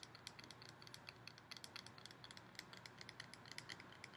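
Fingernails tap fast and scratch across the surface of a hollow, ribbed gold metal decorative pumpkin. The result is a quick, uneven string of sharp, bright metallic clicks over a soft scratchy hiss, with a ringing tone near 2 kHz. Each tap dies away almost at once.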